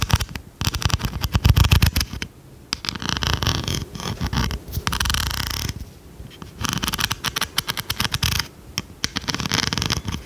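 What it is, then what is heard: Plastic pencil sharpener with metal blade. An oversized blue plastic pencil sharpener with a metal blade is scratched and tapped with long red nails, giving rapid, irregular bursts of bright, crackly scratching over soft low thumps. The taps are short and dry with almost no ring, and brief quiet pauses break up the flurries.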